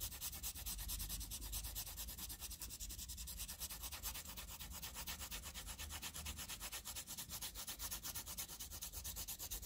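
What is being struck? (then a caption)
Wooden pencil on a paper sheet. A green wooden pencil scribbles back and forth over a densely graphite-shaded area on a flat sheet of graph paper. Fast, steady rubbing strokes give a continuous bright, scratchy hiss with a rhythmic pulse and a low undertone throughout.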